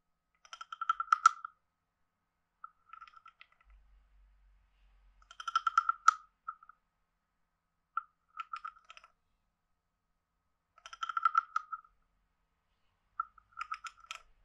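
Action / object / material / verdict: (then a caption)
scrape / carved wooden frog guiro scraped with a wooden stick / wood / none. A hand-sized, hollow, carved wooden frog guiro is played by scraping and tapping a wooden stick along the ridges on its back. Six quiet bursts of rapid croaking clicks, each with a woody tone around 1.3 kHz and bright overtones, are separated by short silences. Each click dies away almost instantly.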